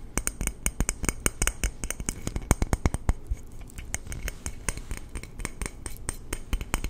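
A hollow red painted aluminum water bottle, held near the mic, is tapped and scratched with fingertips and nails. A rapid, uneven run of short dry taps gives low, soft thuds with bright clicky edges, mixed with faint scratching between them. Each tap dies away almost at once, with no lasting ring.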